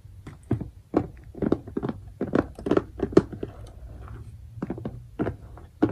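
Fingertips and nails tap the lid of a clear plastic bead organizer box, a transparent compartment box filled with colored diamond-painting drills in every compartment. An irregular run of short, dry, hollow plastic taps sounds, each with a mid-pitched body and almost no ring, some louder than others, over a faint low background.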